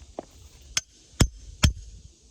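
A boulder at Ringing Rocks Park in Pottsgrove, Pennsylvania is struck three times with a hammer. Each strike gives a dull, low thud that dies almost instantly instead of ringing like a bell, so this is a bad rock that does not ring.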